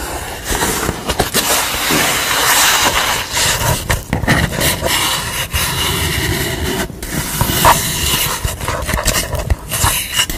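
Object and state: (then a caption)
Painted corrugated cardboard. Long nails tap the corrugated edge of a red-face painting on corrugated cardboard and scratch across its painted surface. A steady, crisp, hissy scraping runs throughout, broken by sharp, bright clicks and taps over a low rumbling texture.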